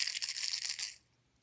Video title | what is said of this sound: Rubber Block Printmaking | when you shake it you're hearing the sound and what that is is the handle holding the uh the blade tips